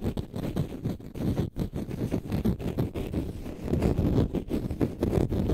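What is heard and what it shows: A green konjac sponge puff is held in the left hand and scratched with the fingernails of the right hand. The result is a dense, muffled, rumbling scratch made of rapid uneven strokes, heavy in the low end with almost no bright content.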